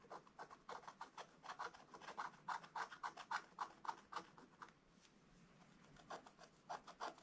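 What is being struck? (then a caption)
Black-coated scratch-art paper page scraped with a wooden stylus. A wooden stylus scratches across a black-coated scratch-art book page, making quick, rhythmic raspy strokes centered around 900 Hz, about thirty in all. A short quiet pause near the five-second mark comes before the scratching resumes.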